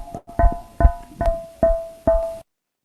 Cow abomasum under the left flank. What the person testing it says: parece que estuviera golpeando un balón de gas, efectivamente es un abomazo que está desplazado